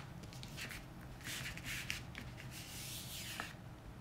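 Bare fingertips rub and slide across the thin glossy printed pages of an open magazine lying flat on a dark wooden table. The result is a quiet, steady, bright papery swishing with soft brushing strokes and a few faint ticks.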